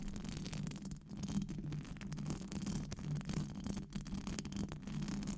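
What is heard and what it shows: Long acrylic nails scratch a hollow silver metal wire-mesh microphone grille with fast brushing strokes. The result is a steady, dense scratching rasp centered on a low hum near 195 Hz, with brief dips between strokes and faint bright fizz above it.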